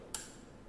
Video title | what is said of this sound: Zoe Laughlin: "Institute of Making" | this is not ringing okay it has no like sustain sound